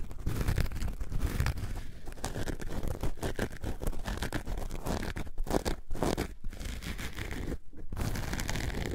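Long nails scratch a coarse orange foam sponge block, producing a dense, continuous rasping scratch that is heavy in the low end. The strokes run steadily with brief gaps near the end.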